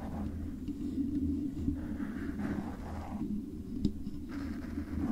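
Long pale-painted acrylic nails from both hands scratch and tap the hollow silver metal body of a condenser microphone with stickers and a black foam cover on top. The result is soft, continuous scratching and rustling with a low hum underneath. A few light taps stand out, the sharpest near the end.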